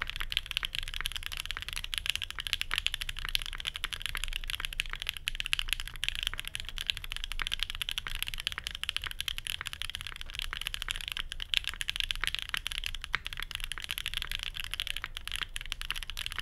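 A full-size Geonworks F1-8X mechanical keyboard with Banana Splits linear switches, an aluminium plate and plastic keycaps, resting on a desk mat, is typed on steadily with the fingertips of both hands. A continuous stream of short, sharp, bright clacks centres around 3 kHz, each dying away almost at once over a faint low rumble.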